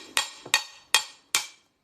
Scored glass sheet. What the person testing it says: you can hear it change noise or change the sound